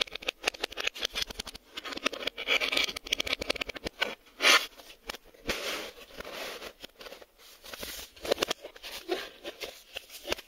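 A hand-sized printed cardboard Maxell VHS sleeve box, possibly holding a tape, is scratched and rubbed on its faces with fingertips and short nails. The result is a dense run of quick, dry, bright scratches and light taps with almost no low end. Longer rasping strokes swell up between the short bursts.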